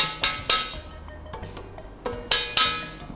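A premium metal laptop stand, including its underside, is tapped in two quick bursts of sharp, bright knocks with a short, dense ring. It sounds solid and dense rather than light like a cheap stand, and the premium stand does not wobble.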